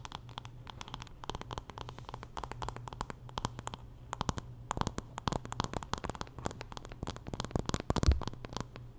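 Long nails scratch and tap across the wooden back and handle of a wooden paddle hairbrush. Quick, dry clicks and short scratchy strokes come in dense bursts over a steady low hum, with a slightly louder tap near the end.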